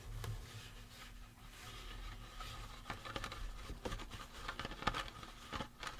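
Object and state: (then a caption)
Resin prop skull. Fingertips tap and scratch the face and cranium of a life-size painted resin or plastic Halloween prop skull. Soft, dry scratching runs throughout, broken by short, sharp taps with a light hollow ring around 1.2 kHz. A steady low hum sits underneath, and the whole clip stays quiet.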